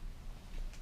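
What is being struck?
Nothing is struck.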